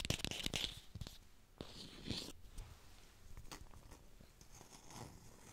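An artificial plastic red apple is fast-tapped and recorded with a hi-fi microphone. A rapid burst of bright, dry clicks fills the first second, then scattered single taps and soft crinkly scratches follow. Each tap stops almost instantly with no ring.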